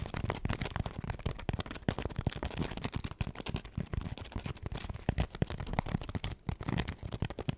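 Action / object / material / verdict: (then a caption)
scrape / foam scrub sponge / foam / none. Long acrylic nails rapidly scratch and tap a hand-sized smiley-face cleaning sponge with a pink textured foam side and a yellow foam layer, soft and porous. A dense run of quick, dull taps and scratchy rustles stays mostly in the low range, each hit dying away almost at once.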